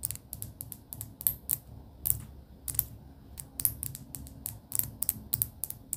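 Long pink acrylic nails tap across stacks of pastel paper sticky-note tabs held in a cardboard booklet. A quick, uneven run of sharp, bright clicks rises over a low, soft rumble, and each tap dies away almost at once.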